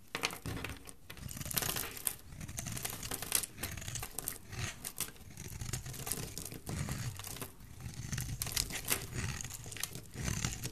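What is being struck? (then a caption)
Bar of soap shaved with a blade. A solid rectangular embossed cream soap bar is shaved into curls with a utility knife blade. Close, dense scraping and crinkly crackling come in quick, uneven bursts with bright edges and a soft low body, continuing throughout without pause.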